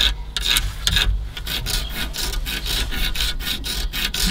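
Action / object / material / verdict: scrape / foam seal strip on a car radiator / foam / none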